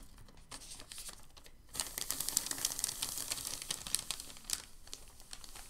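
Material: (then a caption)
Paper. A palm rubs a crinkled sheet of white packing paper flat with a soft, bright rustle, then a hand grabs the sheet and crumples it. The crumpling is louder, with dense, sharp crackles and crinkles that taper off toward the end.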